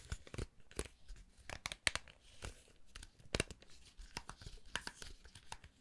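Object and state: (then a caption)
Round hair brush, bristles scratched and flicked. Fingers scratch and flick the black plastic bristles of a round hair brush, held by its handle, around its metal barrel. Irregular bursts of dry, crackly scratching alternate with sharp, bright flicks that snap off almost instantly. Soft rustling fills the quieter gaps between them.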